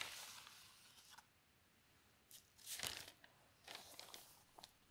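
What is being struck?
Newsprint newspaper.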